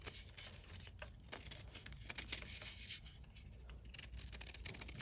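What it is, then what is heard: Gym chalk block being scraped. A ceramic knife scrapes and shaves flakes off a hand-held, roughly palm-sized solid block of blue-dyed gym chalk (magnesium carbonate). The result is a steady run of dry, bright, gritty scraping strokes over a faint low rumble, and the shaved flakes pile up beside the block.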